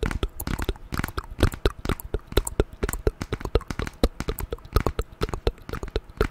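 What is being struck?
Glass and aluminium smartphone.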